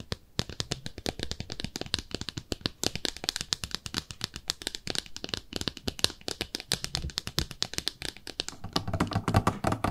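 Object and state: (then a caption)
Ceramic soap dish tapped with nails. Long nails rapidly tap a small, hollow, empty pink speckled ceramic soap dish shaped like a bathtub. The result is a dense, steady stream of short, dry, bright clicks with almost no ring and a light hollow low thump beneath them. The tapping grows slightly fuller and louder toward the end.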